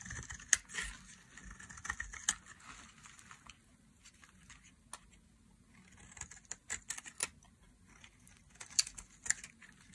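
A hand-sized, solid, dry white soap bar held in the hand is shaved into thin curls with a metal blade. The carving produces soft, crisp scraping and bright crackling ticks in irregular bursts, with a few sharper snaps standing out over a quiet background.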